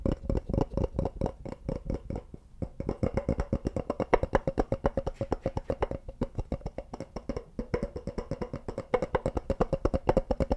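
Fingertips tap rapidly on a small, light-colored molded wooden block or box, with nails also scratching its surface. The result is a steady stream of short, dry, hollow knocks with a woody tone and almost no ring. The tapping dips briefly near 2.5 and 6 seconds before picking back up.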